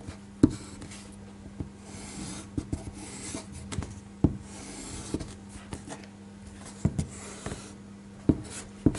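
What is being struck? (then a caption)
Paper sheet rubbed with a rubber eraser. A small rubber eraser held in the fingertips is rubbed repeatedly over a thin white drawing paper sheet lying flat on a table, held down by one hand. Soft, dry rubbing swishes repeat, broken by sharp little ticks and taps, over a steady low hum.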